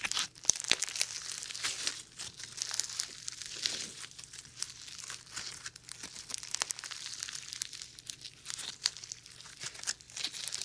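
A small lump of foam ball slime is squeezed, then stretched into a wide band and twisted by fingers. The result is a steady stream of bright, crisp crackling and popping, with many tiny snaps over soft, sticky squelching.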